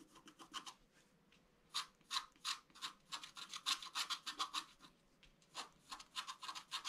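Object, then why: Wax-coated scratch art paper scratched with a bamboo stylus. A bamboo stylus scratches the flat surface of a scratch art card (black wax-coated paper) near its lower area, making continuous scratching strokes. Short, bright, raspy strokes come in quick groups separated by brief quiet pauses.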